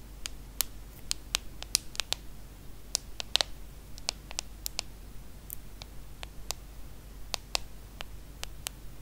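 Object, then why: Aluminum and glass smartphone. Long acrylic nails tap the aluminum body and glass screen of a small, solid hand-held iPhone smartphone. About 25 sharp, bright clicks land at an uneven pace, each dying away almost instantly. A steady low hum runs underneath throughout.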